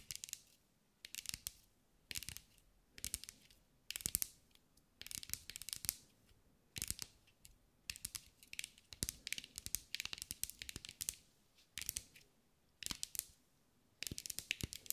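A green mirror-glass mosaic sphere held in the hands is tapped with long acrylic nails. The result is quiet, bright, crisp clicking and ticking in quick bursts, separated by short pauses, with each tap dying away almost instantly.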